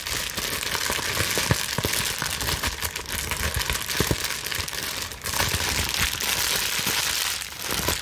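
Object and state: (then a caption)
Plastic bubble wrap. A plastic bubble wrap sheet is bunched between both hands with long nails and scrunched and squeezed, producing a steady, bright crinkling hiss. Sharp clicks and small pops cut through, with brief lulls just after five seconds and again near seven and a half seconds.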